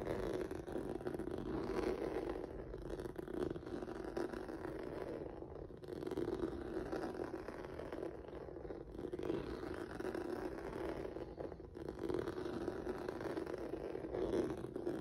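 Fingertips and nails scratch across a flat black rubber or vinyl mat with a noodle-like textured surface. The result is a steady, dense scratchy rustle that stays mostly in the low-mid range around 330 Hz, with little brightness and only brief dips in loudness.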